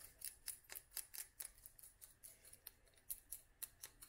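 Long nails tap a small clear glass dropper bottle filled with oil and dried flowers. There are sixteen quiet, bright, clicky taps at an uneven pace, each one dying away almost instantly.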